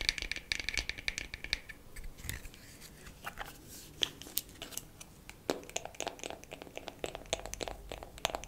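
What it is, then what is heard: Wooden makeup compact. A wooden makeup compact is tapped quickly with fingernails for ASMR. It makes a rapid, irregular run of short, dry, bright clicks with a tone near 2.4 kHz, each dying away almost at once.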